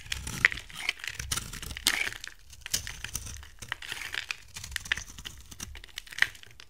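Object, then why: Soap bar cut with a blade. A utility knife blade carves a hand-sized, gold-coated brown-amber bar of dry soap into curly shavings. The result is a steady run of crisp, crinkly scraping with bright, dry clicks and brief snaps, some peaking sharply around 2 kHz. There is almost no low end and no ring after each cut.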